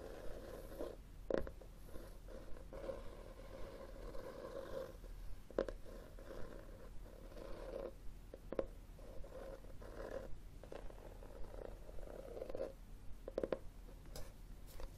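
Fingernails scratch across the textured cloth cover of a solid red hardcover book held tilted. The result is a soft, steady rasping scrape centered in the low-mid range, broken by a few sharper, brighter scratches that stand out above the quiet background.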